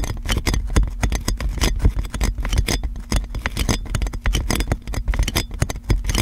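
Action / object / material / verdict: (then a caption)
scrape / plastic cling film wrapped around a microphone / plastic film / none. Long dark nails scratch and tap continuously on clear plastic cling film wrapped around a large metal microphone. The result is a dense stream of close crinkling taps and scrapes over a heavy low-end rumble, with the loudness rising and falling rapidly throughout.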